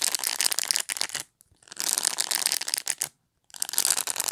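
Long pointed fingernails flick along the bristle tips on the top edge of a black plastic pet brush held in the hand. The result is a dense, bright, crackly scratching with no low end, heard in three bursts separated by short silences.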